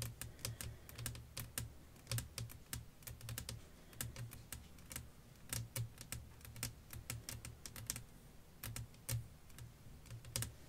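Long nails tap and scratch a flat, clear glass pane lying over lace fabric. Quick, irregular bright clicks come in bursts over a steady low hum, with faint scraping between the taps.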